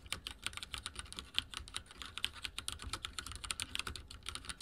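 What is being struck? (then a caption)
Mechanical keyboard with plastic keycaps. Fingertips of both hands type continuously on a backlit mechanical keyboard with dark plastic keycaps and a silver frame. About 31 quick, bright, clacky keystrokes in an uneven rhythm, each short and dry with almost no ring and little low end.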